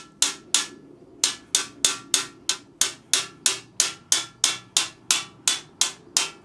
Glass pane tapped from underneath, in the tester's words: you'll hear the sound of the tap changing